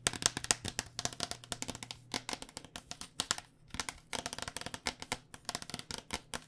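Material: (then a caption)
Plastic. Fingernails tap quickly on the outer plastic shell of a white cycling helmet held sideways, its hollow plastic shell over foam. About forty short, crisp, bright clicks come in rapid, uneven bursts with tiny pauses between them. Each tap dies away almost instantly.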